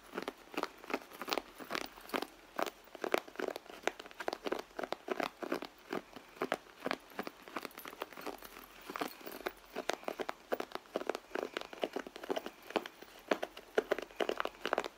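Long fingernails scratch and tap along the side of a red soft-leather handbag. Quick, dry tapping and scratching clicks follow one another steadily throughout, with a crinkly mid-range texture, almost no low end and no ring after each touch.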